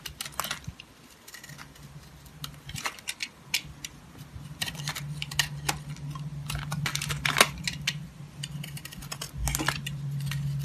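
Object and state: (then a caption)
Bar of soap being carved. A green utility knife blade slices and scrapes slivers off the surface of a solid rectangular black soap bar held in the hand. Quick, irregular, crisp scraping clicks with bright edges sound over a low steady hum that grows slightly louder toward the end.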